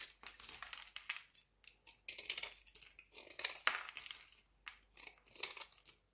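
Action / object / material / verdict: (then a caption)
scrape / solid bar of soap shaved with a knife blade / soap / none. A solid, square, pale green bar of soap held in the hand is shaved with a utility knife blade. The result is a rapid series of dry, crisp scraping and crumbling bursts, bright and hissy, with short pauses between strokes.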